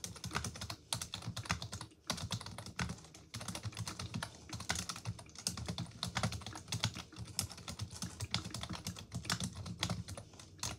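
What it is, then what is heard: Plastic computer keyboard being typed on. Continuous, rapid typing on a full-size black plastic computer keyboard resting on a wooden desk, struck with long acrylic nails and fingertips. The hollow plastic keys give a dense stream of sharp, bright clicks over a low thocky body, with only brief pauses near 2 and 3 seconds.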